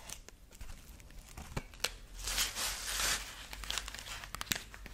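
Long nails scratch the dry husk ears of a dried corn husk rabbit figurine, making sharp, bright crinkling ticks and scrapes. Both hands then grip its body, swelling into a louder, hissy crackling rustle before it settles back into scattered crisp scratches.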